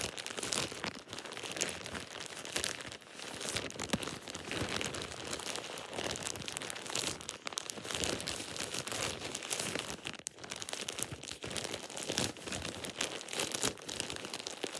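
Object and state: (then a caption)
Plastic shower cap. A thin plastic shower cap with an elastic edge is crumpled between fingers, producing continuous bright crinkling and crackling. The rustling stays dense and steady for about fifteen seconds, with only brief dips, and has little low-end weight.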